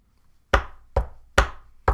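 Four knocks on a desk, each a sharp thud with a deep low body and a brief decay. They come in two pairs, with the knocks evenly spaced.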